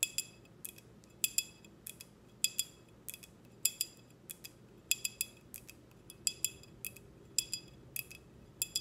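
Long red nails tap a clear, empty, short drinking glass with a logo, held close. About two dozen quick, bright clinks ring with high, thin overtones in an irregular rhythm, each fading almost at once over a faint low background hiss.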